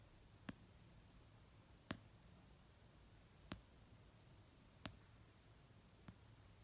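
Long nails tap the cover of an orange paperback novel resting on a blanket, making five slow, separate taps spaced about a second and a half apart. Each tap is a short, dry click with a soft low thump and a bright edge that dies away almost instantly. Between taps there is only a faint, low background hiss.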